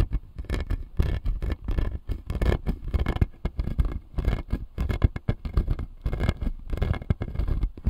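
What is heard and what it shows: Fingertips and nails scratch and tap the plastic teeth on the lower jaw of a clear acrylic dental model, making a dense run of quick, dry clicks and scrapes. The sound is mostly low and thumpy, with brief bright scratchy bursts riding on top.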